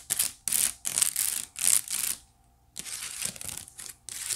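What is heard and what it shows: Long nails scratch along the woven strands of a hollow, empty white wicker basket tilted close to the mic. Bright, dry, crackling rasps come in short irregular bursts, with a brief quiet pause midway before the scratching resumes.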